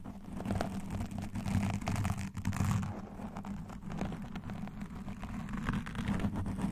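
A black foam windscreen on a standing microphone, soft and porous, is scratched fast and alternately by both hands wearing metal claw nail rings and long dark nails. The result is a dense, continuous low rumbling crackle with a steady hum around 100–200 Hz, overlaid by rapid brushy scratches that flicker into faint high hiss.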